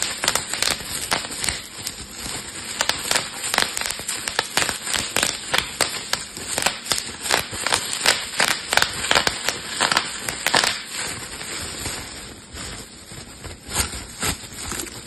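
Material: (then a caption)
Plastic. A thin, air-filled sheet of clear plastic bubble wrap is held in both hands, squeezed, crumpled and popped with fingertips and thumbs. A rapid, uneven string of sharp, bright snapping pops rides over a steady crinkling rustle, with almost no low end and each pop dying away quickly. The popping thins out toward the end.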